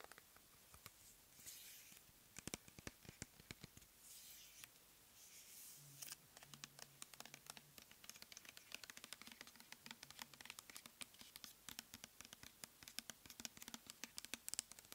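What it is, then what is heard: Plastic pump bottle of gel. Long nails rapidly tap and scratch a clear plastic pump bottle full of cleansing gel. The result is a quiet, dense stream of crisp, bright clicks and ticks, mixed with a few soft, hissy scraping passages early on. A faint low hum sits underneath in the middle stretch.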